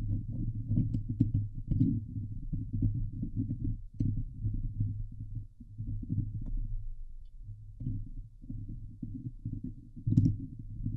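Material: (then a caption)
Steel mesh. Long glitter nails on both hands scratch the hollow steel mesh grille of a Blue Yeti microphone. The result is a steady, muffled low rumble with a throbbing hum, dense scraping texture and occasional bright ticks, with a louder burst near the end.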